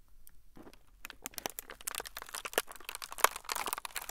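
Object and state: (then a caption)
Plastic air cushion bag crinkled. A clear, inflated plastic air cushion bag, hollow and air-filled, is squeezed and crinkled with the fingertips of both hands above the recorder. Quiet at first, it builds into dense, irregular crinkling and crackling with sharp, bright clicks and pops, and one louder snap stands out near the end.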